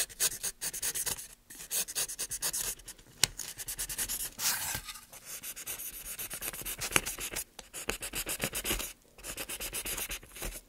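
A small gouge scrapes and scratches along the carved surface of a solid, light softwood board held in gloved hands. It makes rapid, repeated short strokes of bright, dry, high-pitched scraping with almost no ring, broken by a few brief pauses and occasional sharper clicks.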